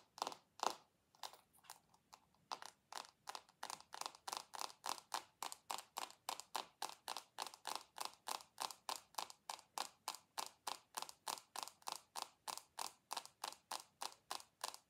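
Long acrylic nails tap and scratch a rectangular dark glass perfume bottle with a gold base held in both hands. A few scattered clicks open the clip, then a steady, brisk run of short, dry, bright taps follows at about three per second, 59 in all. Each tap stops at once with no ringing.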